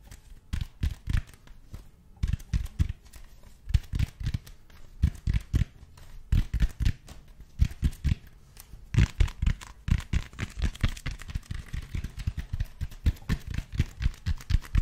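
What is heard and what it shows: Fingertips tap and scratch the textured surface of a large black cylindrical foam roller made of speckled expanded foam, held in both hands. Dull, low, quickly damped thumps come in uneven bursts throughout. From about nine seconds, faint bright scratching hiss joins the taps.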